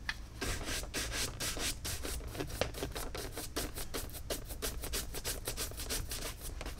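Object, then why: Caiman leather boot brushed with a horsehair brush. A hollow, empty tan Tecovas caiman crocodile leather cowboy boot, held by hand, is scrubbed with a wooden-backed horsehair brush in rapid strokes. The result is a steady run of bright, rasping swishes over a low rumbling bed, with each stroke cutting off quickly.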